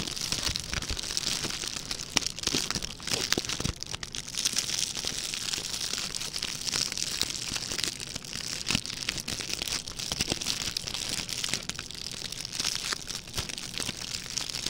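A small, red, shiny, metallic plastic ribbon gift bow is crinkled and crushed between the fingertips of both hands. It makes a dense, continuous crackle of bright, papery crinkles with quick sharp snaps, holding at a steady level for about fifteen seconds with little low end.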